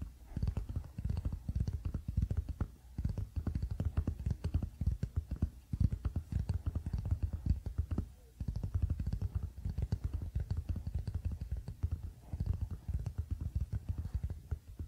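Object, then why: Wooden paddle hairbrush. Fingertips quickly tap and scratch the wooden back of a wooden paddle hairbrush lying flat on a blanket. The result is a dense, rapid stream of soft, muffled, low thuds with almost no bright content, each tap dying away almost instantly. The patter continues steadily across the clip, with brief lulls in between.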